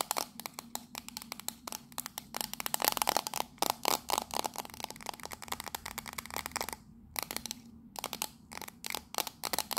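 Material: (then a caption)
Tinplate. Long nails rapidly tap and scratch the side panels of a small, hollow, octagonal printed tin tea caddy with a purple label. The result is a dense stream of sharp, dry, bright clicks and scrapes with almost no ring, broken by two brief pauses near the end.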